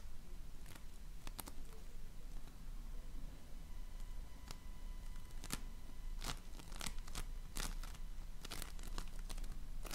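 A donut-shaped ring of floam, slime packed with polystyrene foam beads, is pressed with fingertips and nails. It gives off scattered crisp, bright crackles and crunchy pops over a steady low rumble.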